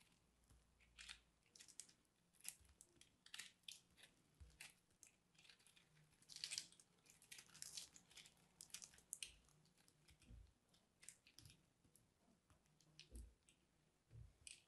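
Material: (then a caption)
Soap. A small metal blade scrapes and cuts into a hand-held, dried purple soap chunk, shaving off crumbly flakes that fall as loose crumbs. Quiet, bright, dry crunching and scratching come in many short bursts with occasional soft low thumps.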